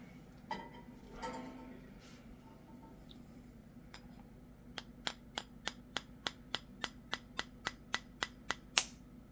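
A spoon taps steadily on the rounded end of a raw chicken egg, giving a run of 15 short, bright ticks after a few faint, softer knocks. The last tap is the loudest and sharpest, the crack of the inner membrane breaking while the shell stays whole.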